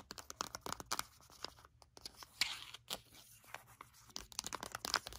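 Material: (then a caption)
Foil. A flat, sealed foil sheet-mask sachet is handled and flipped over while long acrylic nails scratch and tap it rapidly. Quick, sharp clicks and bright, papery crinkles come in uneven bursts, mostly high-pitched with almost no low end. Each sound dies away almost instantly.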